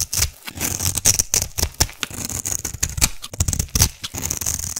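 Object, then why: Bar of solid soap. A metal blade held in the other hand carves and scrapes a solid black soap cube with a scored top. It makes a rapid series of crisp, bright scraping and cutting strokes with short dry crackles and a soft low thud beneath.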